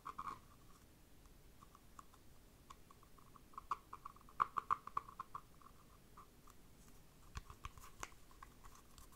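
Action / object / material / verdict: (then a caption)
scrape / faux-leather-covered dice cup / faux leather / none. Long dark nails scratch and tap the side of a small, hollow, empty cylindrical dice cup covered in textured map-print faux leather, held in the hand. Quiet, dry scratching is broken by scattered soft taps with a hollow, mid-pitched resonance. Each tap is short and dies away almost immediately.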